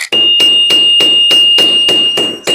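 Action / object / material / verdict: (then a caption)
strike / forged steel anvil struck through a workpiece with a hammer / steel / rings well. A round-head hammer peens a rivet head on a workpiece resting on a forged steel anvil, striking in a rapid, steady series. Each blow gives a bright metallic clang over a sustained high ring near 2.8 kHz that carries between strikes. The anvil rings well.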